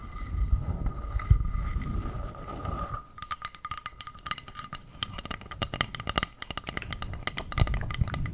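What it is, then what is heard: Round bamboo board. Long purple nails scratch and tap the surface of a round, flat, solid bamboo board about the size of a plate. For the first three seconds there is a soft, low, rumbling scratch under a faint steady tone. Then it gives way to a rapid run of sharp, dry taps with bright clicky edges.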